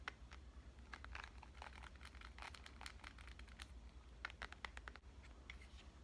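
A black smartphone is held in one hand while dark-painted nails tap and scratch its glass screen. Quick, sharp clicks and scratchy scrapes come in uneven bursts, with a steady low hum underneath. The clip is quiet overall.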